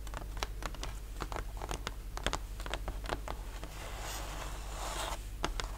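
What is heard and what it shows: Fingertips and short nails tap and scratch across a thin, flat, solid plywood model-kit sheet with laser-cut ship parts, resting on a linen cloth. Short, dry, bright taps with almost no ring are scattered throughout, and a softer, longer scratching passage comes near the end, all over a steady low hum.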